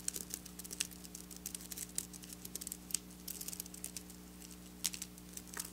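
Long black nails scratch and tap across flat silver sequin fabric, making a quiet, dry, bright crinkling patter of many quick clicks and rustles. A faint steady low hum sits underneath the whole clip.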